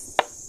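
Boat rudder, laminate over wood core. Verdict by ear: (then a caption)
Solid. A single tap on a spot of a boat rudder made of wood with filler and laminate, next to a suspected void. It gives one short, sharp knock centered around 760 Hz that dies away almost at once over a steady high-pitched hiss. The rudder sounds solid at this spot.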